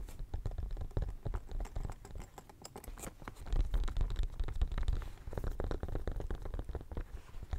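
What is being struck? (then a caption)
Silicone studded pencil case. Fingernails scratch and tap the studs of a pink, bumpy silicone studded pencil case held upright by the mic. The result is a dense, steady run of soft, muffled scratches and quick taps, heavy in the low end with almost no bright edge. The clip gets somewhat louder through its middle stretch.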